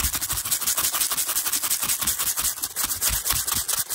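The bristles of a teal hairbrush, held in the hand, rapidly brush and scratch across a stack of small, translucent pastel plastic cases that are hollow and appear empty. The result is a dense, bright, hissy scratching that pulses quickly and steadily without pause, with little low-end weight.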